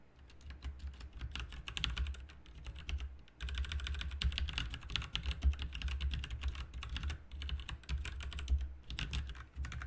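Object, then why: Plastic mechanical keyboard. Both hands type rapidly with their fingertips on a full-size, backlit plastic RGB mechanical keyboard with plastic keycaps, resting on a desk mat. A dense stream of clacking keystrokes with deep thocks and bright clicks runs throughout, pausing briefly around the three-second mark before continuing.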